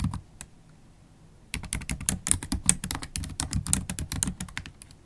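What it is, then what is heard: Laptop keyboard being typed on. Long, pointed holographic acrylic nails type on a MacBook Pro keyboard with black plastic keycaps set in a thin, hollow silver aluminium laptop body, tapping the keys with nail tips and fingertips. A few scattered taps give way to a brief quiet pause, then rapid, continuous typing of sharp, bright clicks with short, dull low thuds that stop almost instantly.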